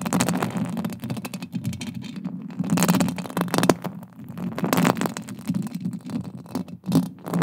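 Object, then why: Metal mesh microphone grille scratched and tapped with fingernails. Long green acrylic nails scratch and tap directly on a silver, fist-sized, hollow metal mesh microphone head held close with both hands. The result is a dense, continuous run of scratchy rasps and soft taps with a heavy low rumble around 200 Hz. Louder bursts swell and fade over the 7.5 seconds.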